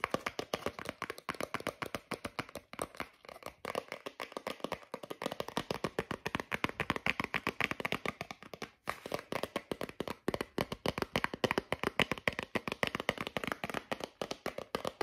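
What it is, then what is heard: Cardboard and plastic blister pack. A lip balm blister pack, a small flat cardboard backing card with a plastic blister holding the lip balm, is tapped rapidly with fingertips and short nails. The result is a steady stream of dry, irregular clicks and taps, about three or four per second, with a crisp bright edge centred near 2 kHz, very little low end and almost no ring after each hit.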